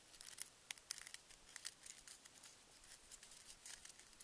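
A single Reese's miniature peanut butter cup, with solid chocolate inside a paper cup and a metallic foil wrapper, is held between fingertips with long nails in front of the candy bag. The nails crinkle and scratch the foil, making quiet, bright, sharp crackles and ticks in an irregular patter with almost no low end.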